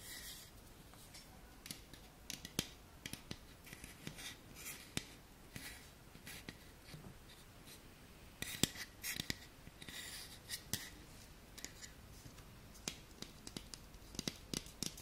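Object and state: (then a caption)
Tin candle container scratched with fingernails. Fingernails scratch the side and teal lid of a small round printed tin candle container held close, making soft, bright rasping scrapes. Sharp clicks and taps are scattered through the clip and ring out almost instantly.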